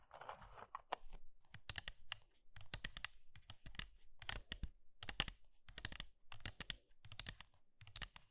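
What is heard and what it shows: Fingers with long red nails press, scratch and lightly crunch hollow pink and blue dry soap curls filling a pink soap bowl. The sound is quiet, dry, crisp crackling and brittle snapping in short clustered bursts separated by brief pauses, with bright high crinkle over a low thump and no ringing.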